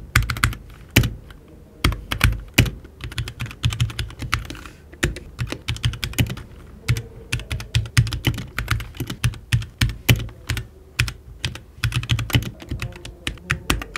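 Fingertips type continuously on a HyperX Alloy Origins 60, a compact RGB mechanical keyboard with plastic keycaps and an aluminium case, while the mouse beside it stays untouched. A rapid, steady stream of short, dry key clacks has a deep thocky body and bright tips on each stroke, with no ring after each press.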